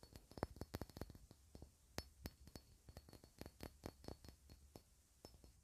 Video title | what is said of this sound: [ASMR] tapping on glass items (soft speaking) | Differently depending on where I tap and how I hold it. The bottom really sounds so clean.